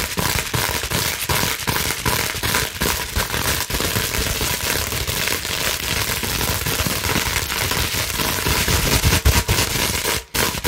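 A clear plastic bubble wrap sheet is held and bent in the hands while long nails scratch quickly across the bubbles. The result is a dense, steady stream of bright crackles, pops and scratchy rustling with a low thumpy undertone, which drops out briefly just before the end.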